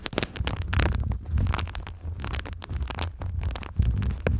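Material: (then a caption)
Foil and foam. Long nails tap and scratch across a silver foil-faced foam insulation sheet bent over the microphone. The crinkly foil gives a dense run of bright, sharp crackles and scrapes over a steady low rumble.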